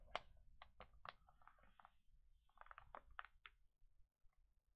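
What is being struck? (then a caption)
Glossy paper magazine pages. Fingertips and palms rub and smooth the pages of an open glossy paper pet magazine lying flat on a table, then flip them over. Quiet, crisp paper crinkles and swishes come in a quick series of short bursts, fading to near silence at the end.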